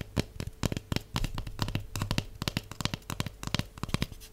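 Long nails tap rapidly on a large, hollow, empty cardboard tube held near a table. A quick, uneven run of sharp, dry clicks, each with a soft hollow thump beneath, dies away instantly with no ring. A faint steady tone sits underneath the whole run.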